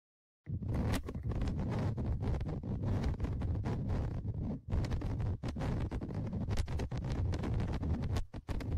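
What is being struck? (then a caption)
Metal mesh microphone grille on a plastic recorder body. Dark tweezers held in the fingers scratch and scrape across the top microphone grille and the omni mic area of a Tascam DR-100mkIII recorder, a metal mesh grille on a plastic body. The result is a dense, continuous, low, rumbling scratching right at the microphone, with rapid rough strokes and only brief dips in loudness near the middle and the end.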